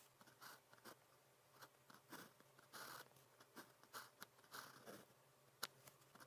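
A blue plastic ballpoint pen with a metal tip scratches across thin practice paper printed with a red calligraphy grid as it writes characters. Quiet, dry, bright scratching strokes come in short bursts separated by brief pauses, with a faint steady low hum underneath. Each stroke stops cleanly with no ring.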